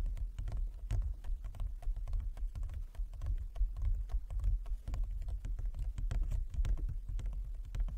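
A large, flat inlaid wooden chess board is tapped by the fingertips and long nails of both hands. The result is a steady, irregular patter of soft, low, woody knocks, each with a short sharp click on top and little ring.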